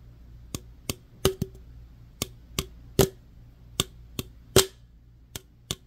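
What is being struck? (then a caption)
Opened aluminum drink can. Fingernails scratch and tap the body and rim of an opened aluminum root beer can. Twelve sharp, bright clicks land at an uneven pace, each with a faint metallic ring near 390 Hz that dies away almost at once, over a low steady hum.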